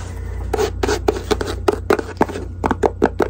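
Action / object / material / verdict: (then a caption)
tap / faux leather jewelry box / faux leather / none. Long acrylic nails scratch and tap the lid and sides of a small, hollow, closed white faux-leather jewelry case held in both hands. About twelve sharp, dry, hollow clicks ring around 460 Hz and die away almost at once. Soft scratching and a steady low hum run underneath.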